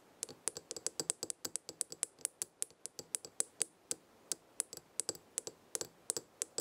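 Long red nails tap and scratch the glass sides and the gold metal lid edge of a small square glass jar full of dried herbs, held in the hand. The result is a quiet, rapid, uneven series of sharp, bright clicks that die out almost instantly, with a faint hollow knock beneath each one.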